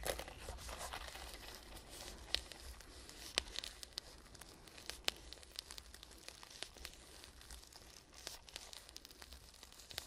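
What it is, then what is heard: Zippered hard-shell case tapped and scratched with nails. Long pink nails tap and scratch along the shell and edges of a small black hollow zippered hard-shell case, EVA/fabric-covered, held upright close to the microphone. The result is a quiet, bright, crinkly scratching with a few sharp, dry taps standing out, over a faint low hum.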